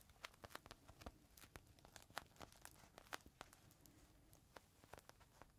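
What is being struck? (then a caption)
Plastic zip bag holding a microfiber cloth. A small clear plastic zip bag holding a folded green microfiber cloth is held edge-on while the fingertips of a bare hand and a dark gloved hand squeeze and rub it. The plastic crinkles in a quiet, steady stream of sharp, bright crackles and ticks over a soft hiss, with no ring after each crackle.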